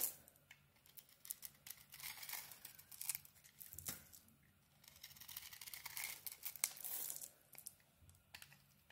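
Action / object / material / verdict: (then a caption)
scrape / bar of soap carved with a small metal blade / soap / none. A solid yellow Alterra bar soap, held in the hand with its white interior exposed, is scraped and carved with a small metal blade as flakes fall off. The sound is a quiet, bright, dry scraping and crackling, with bursts of shaving broken by sharp little clicks and brief pauses.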